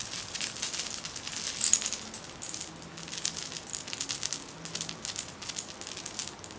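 A silver metal charm bracelet with many beads and charms, worn on a raised wrist, is tapped and jiggled by long manicured nails. The charms give off a dense, continuous stream of bright, short clinks and jingles, with very little low end.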